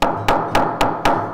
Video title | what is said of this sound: Lagoinha da praça ao copo | batia com essa região aqui no fundo da bancada então o copo não trincava